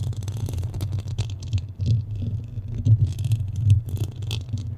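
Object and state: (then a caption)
Metal microphone grille. Fingernails of both hands scratch across a black metal mesh microphone head. The result is a dense, low rumbling rasp with a steady deep hum underneath. Brief bright scratchy bursts flicker over it, with louder swells near the end.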